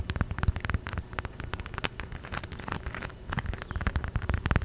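A small red and green watermelon-print inflatable vinyl pool float, hollow and air-filled, is held in the hands and tapped and rubbed with long nails and fingertips close to the microphone. Quick, dull, low taps come in dense clusters, mixed with a bright, crackly scratching rustle. Each tap dies almost at once.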